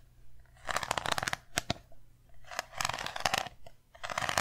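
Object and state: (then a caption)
Small round metal tin. Long nails tap and scratch a small round metal tin with an embossed lid. The result is bursts of bright, rasping scratches mixed with short, sharp clicks that die away almost at once, with a thin metallic tone near 1.7 kHz.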